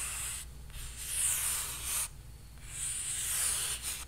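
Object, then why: Painted stretched canvas. Flat fingers rub and scratch across the painted surface of a large canvas stretched on a frame. The result is a bright, hissy scraping that swells in two long sweeping passes separated by a brief lull, over a faint steady low hum.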